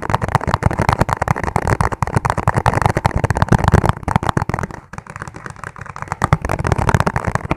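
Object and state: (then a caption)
Plastic food container. A clear, ribbed plastic food container, hollow and empty, is tapped very fast with fingertips. The result is a dense, continuous patter of short, dull, low-heavy taps that die away almost instantly, briefly thinning and softening around the five-second mark before picking up again.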